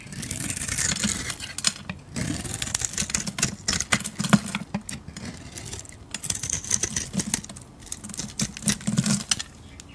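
A metal blade shaves curls off a solid bar of yellow soap with a purple-gold glitter coating. Dense, bright crackling and scraping strokes come in quick bursts with brief pauses, over a low, steady rumble.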